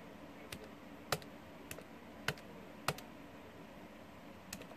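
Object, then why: Plastic calculator keys. Fingertips press and click the plastic keys of a small, hollow, blue plastic TI-30X scientific calculator lying on a wooden desk. Short, sharp, dry clicks come at irregular intervals over a faint steady hiss, with the loudest presses landing near the middle of the clip.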